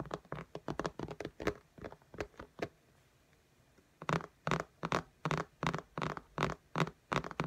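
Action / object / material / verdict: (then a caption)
tap / glass tablet screen in a case / glass / none. Fingertips and long nails tap and patter on the glass screen of an iPad lying flat in a pink case. Quick, sharp clicks with a low thud under each one come in an uneven run, pause for about a second, then resume as a steadier, stronger series of taps.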